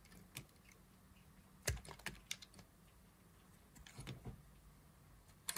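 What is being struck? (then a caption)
Soap bar carved with a blade. A thin blade carves a solid green dry soap bar, making frequent cutting strokes that shave off pieces. Short, crisp scraping clicks with bright edges stand out over a quiet low hum, some arriving in quick clusters and others spaced apart.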